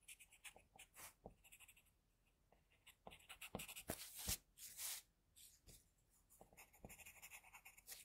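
An HB pencil scratches the nose and mouth lines onto a sheet of flat white drawing paper. Quiet, bright, dry strokes come in short, irregular bursts with brief pauses between them. A few sharper scrapes stand out in the middle, then the strokes settle back into a light, steady scratching.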